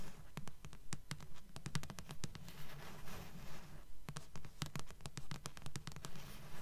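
Long nails tap and scratch the glossy card cover and spine of a thick blue paperback book, held upright and then turned to show the spine. Quick, fairly regular bright clicking taps are mixed with brief scratchy strokes over a steady low hum. The overall level is quiet.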